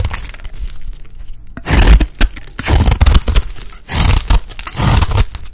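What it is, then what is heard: Dry bar soap shaved with a blade. A solid green rectangular bar of dry soap, held in the hand, is scraped with a utility blade into fine shavings. After a quieter opening, several loud, dry, crunchy scraping strokes come in bursts, with a crackly, tearing texture and a heavy low-end thump under each pass.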